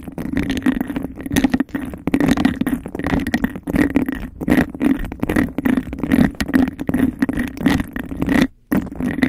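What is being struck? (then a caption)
Embossed glass cup. A hand-sized, hollow, empty cup of embossed textured glass is held over the microphone while long nails scratch and tap fast on its bumpy outer surface. The result is a dense, rapid stream of rough scratching and clicking taps with a hollow, resonant midrange hum around 260 Hz, interrupted by a brief silent gap near the end.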